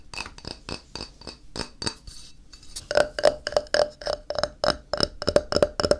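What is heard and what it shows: A thin, solid white ceramic tile held on its edge is tapped along the edge with fingertips and nails, producing a quick run of dry clicks and clinks. The first half is softer, and from about the midpoint the taps turn sharper and brighter, each carrying a brief glassy ring near 590 Hz that dies away almost at once. About 23 taps fall at an uneven, fast pace.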